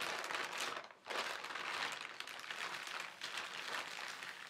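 A flat hand slowly presses and rubs the film of a large, thin white plastic carrier bag printed with black lettering. It makes a steady, bright crinkling with no low rumble. The crinkling briefly fades just before one second, then continues at an even level to the end.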